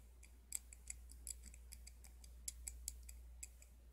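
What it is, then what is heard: Steel adjustable wrench worm screw ticking. A chrome steel adjustable wrench is handled with the fingers as the thumb rolls its knurled worm screw, opening and closing the jaw. It gives a quiet run of small, bright metallic ticks at an uneven pace over a steady low hum.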